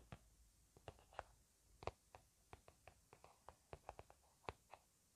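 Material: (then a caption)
Plastic. A hollow, cream-filled plastic or laminate hand cream squeeze tube with a blueberry print, held upright, is tapped with fingertips and nails. Sixteen soft, short, dry taps come at an uneven, unhurried pace over a quiet background hiss, each with a faint muted thud and a slight bright click.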